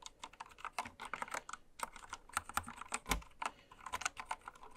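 A full-size white-cased mechanical keyboard with pastel plastic keycaps, lying on fabric, is typed on continuously with long red nails and fingertips. Quick, bright plastic clicks and clacks come in a steady, uneven stream with very short decay, and occasional heavier keystrokes add a low thump.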